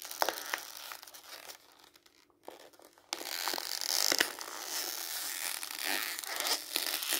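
A small rolled piece of printed glossy magazine paper is held between both hands while the fingertips twist, crumple and tear it. Sharp, bright crackles and crinkles come first, fade to a quieter rustle in the middle, then give way to a louder, dense stretch of tearing and crumpling to the end.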